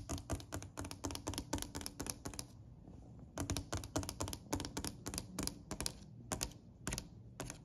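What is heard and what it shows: A hand taps a solid, dark-stained wooden plank surface, a stair step or bench, with a long acrylic nail and fingertips. Twenty-nine quick, crisp taps click brightly over a low, woody thud, coming in rapid bursts with a short pause partway through, and each tap dies away almost at once.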